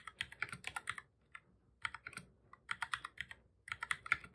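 Fingertips of both hands type on a black full-size plastic computer keyboard, making about 23 quick, bright key clicks. The clicks come in four short bursts separated by brief pauses, each tap sharp and dry with almost no ring.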